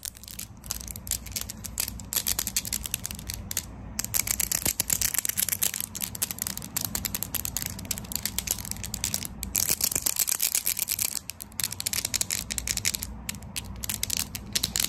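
Very long pale pink acrylic nails with hard plastic tips are tapped and clicked against each other up close. A rapid, continuous stream of sharp, bright, dry clicks rattles on with only brief pauses, each tick dying away almost instantly over a faint low hum.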